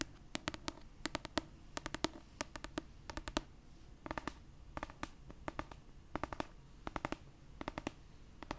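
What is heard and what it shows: Long purple acrylic nails tap and scratch the cover of an orange paperback copy of "A Court of Thorns and Roses," a solid paper book held upright. Quick, crisp, dry clicks come in rapid bursts of two to four. Soft, bright scratching fills the quiet gaps between them.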